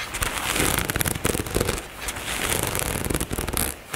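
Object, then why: Nylon fabric cosmetic bag. Long nails tap and scratch the fabric near the zipper of a dark nylon zippered cosmetic bag resting on a table. A dense run of crisp, crackling taps and rustling scrapes continues without a break for the whole four seconds.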